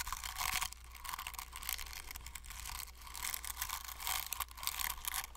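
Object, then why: Plastic fidget cube with silicone buttons. A flat paint brush stipples and scratches the ridged plastic faces of a hand-sized hollow plastic fidget cube with silicone buttons, held close to the mic. Dense, bright crackling and scratchy bristle sounds come in bursts, with a steady low hum underneath.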